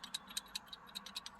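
A blown pyrotechnic fuse removed from an Audi after an accident is shaken by hand, and a loose part inside makes a series of quick, light, bright rattling clicks. Nine short ticks are heard over under a second and a half, a sign of a bad fuse, since a good one makes no sound when shaken.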